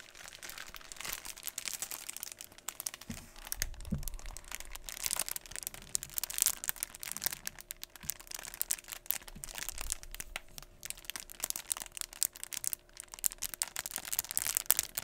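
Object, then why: Vinyl sticker sheet in a clear plastic sleeve. A thin pack of rainbow holographic vinyl alphabet stickers on a white backing, in a clear plastic sleeve, is held in both hands and bent and flexed by the fingertips. Dense, bright crinkling and crackling runs throughout, with sharp, quick snaps and a faint low rumble beneath.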